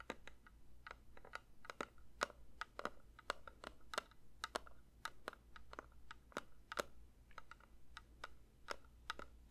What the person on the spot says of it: 3:47 Metal candle tin tapping